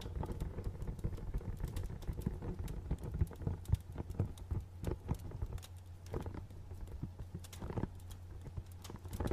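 A small, hollow, dark printed cardboard box with a barcode label, held in both hands, is tapped with fingernails. The clip is a quiet run of quick, light, dry taps with very short decay over a steady low hum.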